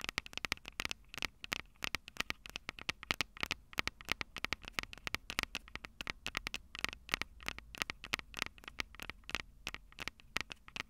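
Long purple nails rapidly tap and scratch the metal microphone capsules on a Tascam DR-05 recorder. Around 66 sharp, dry clicks with almost no ring come in quick, uneven bursts over a faint crackling hiss. The sound is bright and close, centred near 2 kHz, with little low end.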